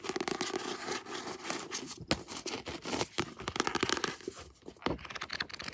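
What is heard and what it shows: Long nails scratch across the glossy cover of a paperback book, then handle the edges of its paper pages. The result is a dense run of crisp, bright scratches and papery rustles with short, sharp flicks and little low end.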